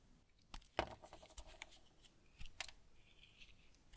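A small blade shaves and carves a solid brown bar of semi-hard household tar soap held in one hand, with curls of soap piling up on a wooden table. Short, dry scraping and cutting strokes, each with a bright, crisp rasp, come at irregular intervals over a quiet background.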